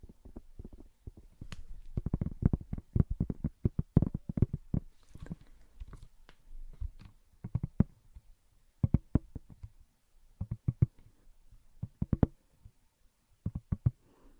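Long nails tap and scratch the glittery back of a hand-sized smartphone in a pink plastic case, held in both hands close to the mic. The result is quick runs of soft, dull, low clicks with very short decay and faint scratchy texture, coming in bursts separated by brief pauses.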